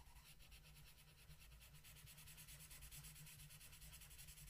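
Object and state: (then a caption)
Paper coloring page being colored. A blue wooden colored pencil rubs across a flat paper coloring book page in continuous coloring strokes. The result is a steady, quiet scratchy hiss, bright in the highs, pulsing softly with the back-and-forth strokes over a faint low rumble.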